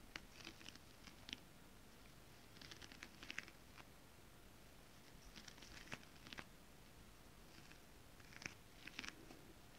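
Long decorated acrylic nails tap and scratch a flat sheet of shiny holographic mermaid scale-printed fabric. Quiet bursts of bright, crisp clicks and scratchy rasps come in scattered clusters over a soft, steady low background hiss. Each tap is short and dry, with no ring after it.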